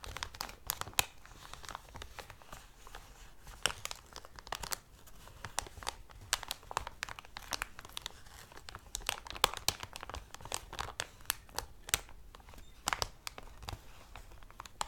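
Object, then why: Thick clear plastic cellophane bag. Fingertips crinkle and pull at the opening of a thick, clear, medium-sized plastic cellophane bag with thin walls and a squishy toy inside. Dense, dry crackles and sharp crinkling snaps with bright high-frequency sizzle continue steadily over a quiet low hum.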